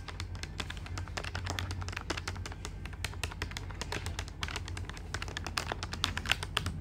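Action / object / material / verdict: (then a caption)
tap / plastic calculator keys / plastic / none. Fingertips of both hands quickly tap the plastic keys of a black plastic desktop calculator with a hollow body. The result is a rapid, uneven run of short, dry, bright clicks that stop almost instantly, over a steady low hum.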